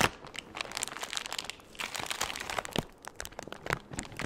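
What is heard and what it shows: A large, empty, thin clear plastic bag is scrunched, waved and stretched by hands. The result is a continuous, bright crinkling full of sharp crackles and brief snaps, mostly in the upper range with little low end. The crinkling eases briefly around the midpoint and again near the three-second mark before picking back up.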